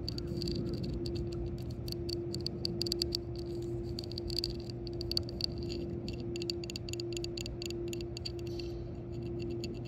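Long fingernails tap and scratch the rim and recessed center of a yellow hard-plastic shuffleboard disc lying on concrete. Dense, quick clicks and scrapes run over a steady low hum.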